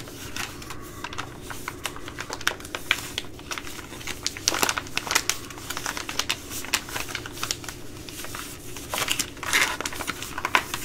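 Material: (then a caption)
Plastic laminate. A Ready Rice plastic laminate pouch is crinkled and squeezed by hand with long nails. The result is a continuous stream of bright, crackling crinkles with quick, sharp snaps that die away almost instantly. Louder bursts come near the middle and again toward the end.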